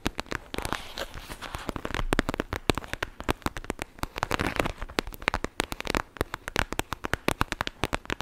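A clear plastic gel bead bag filled with blue beads is pressed and scratched with long nails just above the microphone. Dozens of sharp, dry crackling clicks and crinkles come in quick, irregular bursts over a soft rustling bed. Each click dies away almost instantly.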